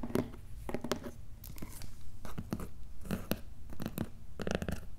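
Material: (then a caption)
Cardboard. Fingertips and nails scratch and tap the paper shipping label on top of a medium, closed, hollow corrugated cardboard box. The result is a close, dry series of short crunchy scratches and soft taps, mostly low and dull with brief bright edges on each stroke.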